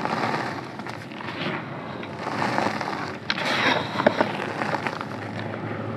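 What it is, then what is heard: Crumbling chalk powder. Bare hands dig into a large loose pile of blue-dyed calcium carbonate gym chalk powder, squeezing and crumbling handfuls and crumbly clumps. A continuous soft, crackly crunching and scraping is heard, with a few sharper crumbles standing out near the end.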